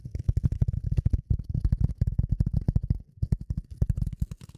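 A rectangular dark gray polyethylene foam sheet, held in front of the microphone, is tapped and scratched with the long nails of both hands. The result is a fast, uneven run of soft, dull, low thumps with almost no ring, with a brief lull just after the three-second mark.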